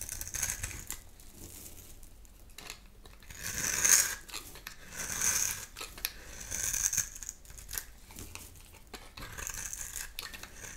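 A dry, lime-green rectangular bar of soap with a dark edge is held in the hand and scraped with a metal utility knife blade, shaving off crumbly green powder. The scraping comes as irregular, bright, gritty strokes with almost no low end, swelling into louder rasping passes near the middle of the clip before easing back to softer scrapes.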